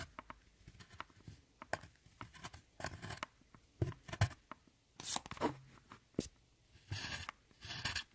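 A metal tool chops and scratches the pressed powder in an eyeshadow palette, breaking it into flakes. Sharp, dry taps and crunches come in an irregular run, broken up by longer bright scraping bursts near the end.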